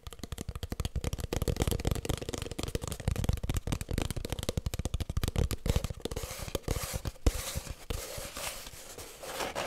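Long nails scratch and tap quickly along the length of an empty, hollow cardboard kitchen roll tube. The result is a dense run of short, dry, boomy knocks with a hollow low resonance. It thins into a softer, continuous scraping rasp toward the end.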